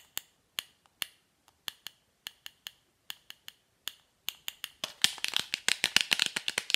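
Long manicured nails tap and scratch a small, hollow, rectangular printed cardboard MAC lipstick box held in the hand. Sharp, dry, bright clicks come in a sparse, steady pattern, then speed up into a dense flurry of rapid taps with scratchy rustling between them. Each click dies away almost instantly.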